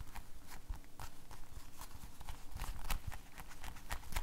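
An empty blue rubber household glove is held up in one hand while the fingers of the other hand rub and flap the rubber. Quiet, dull low thumps and rustling run throughout, broken by quick, bright snaps and squeaks that die away almost instantly.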